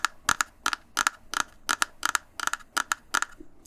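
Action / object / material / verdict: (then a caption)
tap / small wooden jeweler's box with sticker covering / wood / cheap. Tapping on the wooden jeweler's box of a counterfeit Neumann microphone, a cheaply put-together box with no dovetails and a sticker covering it, gives a series of short, dry, clicky knocks with no ring. The taps come in quick pairs at a steady pace, and the thin, hollow sound marks the box as cheap.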